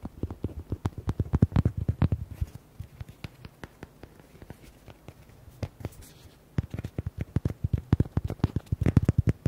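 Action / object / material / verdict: tap / hollow rubber duck toy / rubber / none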